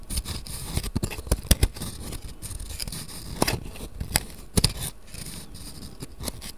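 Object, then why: Cardboard matchbox with wooden matches. Fingertips scratch and rub the wooden matches and the cardboard drawer of a small cardboard matchbox held open in both hands. Soft, dry scraping and rattling fills the clip, broken by sharp little clicks and taps that land in uneven bursts, with a low thumpy body under a bright, papery hiss.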